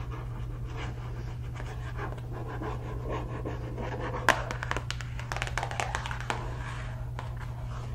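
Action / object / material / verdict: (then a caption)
tap / cardboard cereal box / cardboard / none. A hollow, family-size printed cardboard cereal box, held upright in one hand, is tapped and scratched on its front face with long red acrylic nails. Soft scratching is heard over a steady low hum, followed by a cluster of sharper taps, one noticeably louder than the rest.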